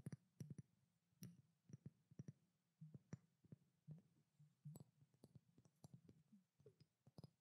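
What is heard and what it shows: A pink glass perfume bottle with a silver cap, held in both hands, is tapped with long nails in a quick, uneven run of soft clicks. Each tap is short and dry with almost no ring, carrying a low hollow tone under a brief bright tick.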